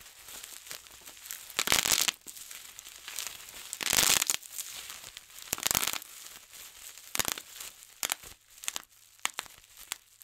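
Fingertips pinch and pop the air-filled bubbles of a large, clear plastic bubble wrap sheet as the sheet crinkles. Bright, crackly crinkling runs throughout with almost no low end. Sharp pops and louder bursts of crackle stand out near the 2, 4 and 6 second marks, with scattered quicker pops toward the end.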